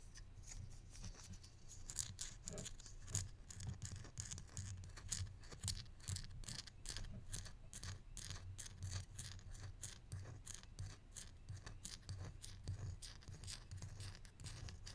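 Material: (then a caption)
Wood. A small hollow wooden barrel-mug salt shaker with copper bands and a side handle is held in both hands and tapped and scratched with the fingertips and nails. The result is a steady run of quick, dry clicks and bright scratchy rasps over a low, soft hum.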